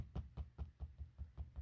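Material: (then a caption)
Synthetic leather. Knuckles knock repeatedly on the synthetic leather strap of a 2002 WWE Cruiserweight Championship replica belt, a strap that is much more flexible and looks like glossed leather. An even run of dull, low thuds is heard, each dying away almost at once with nearly no high-end click. It sounds softer and more leather-like than the plasticky 2001 version.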